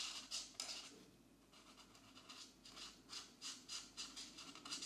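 A black-bodied marker colors a mandala in small strokes on the thin paper page of an open coloring book resting on a desk mat. Its tip rubs and scratches in quick, uneven bursts of bright, hissy friction, with a dip in the middle, at a soft overall level.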